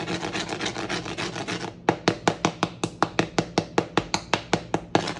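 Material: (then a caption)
Bread crust. A freshly baked homemade wheat baguette, straight from the oven, is handled and tapped so its crust crackles. A dense, continuous crackling rustle is followed by a steady run of sharp, separate crunchy snaps. The crust sounds very crispy.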